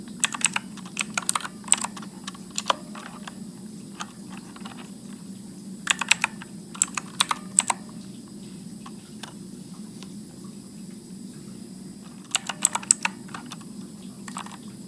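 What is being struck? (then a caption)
Plastic mechanical keyboard. Fingertips press the plastic keycaps of a backlit Motospeed mechanical keyboard with blue clicky switches and a hollow case, typing slowly and sporadically. Sharp, bright clicks come in short bursts separated by pauses, over a steady low hum.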